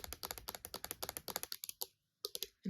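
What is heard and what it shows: Fingernails flat-tap on a metal silver play button award plaque, producing a fast run of short, dry clicks with a high, bright edge and almost no ring. The taps pause briefly, then a few more follow before a low thump at the end.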